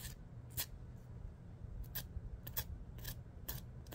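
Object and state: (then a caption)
Emery nail file being used. Fingernails are scraped back and forth along a long dark emery board nail file held in the other hand. Short, bright, raspy strokes come in irregular bursts over a steady low rumble.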